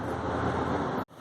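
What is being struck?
Nothing is struck.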